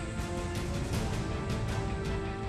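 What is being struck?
Nothing is struck.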